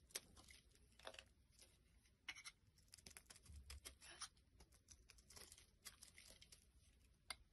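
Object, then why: Bar of soap. A hand-sized solid white soap bar, held in the hand over a wooden surface, is scraped and carved with a small black blade, with soap shavings piling up and falling off. Quiet, bright, crisp scraping strokes come in an irregular series of short rasps, each dying away almost at once, over a faint low rumble.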